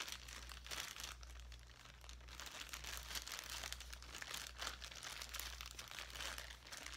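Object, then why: Plastic zip-top bag holding small foam pieces. A clear plastic zip-top bag partly filled with small foam and craft items is crinkled and squeezed in both hands. The result is a continuous, bright crinkling and rustling at a soft level, with a steady low hum beneath it.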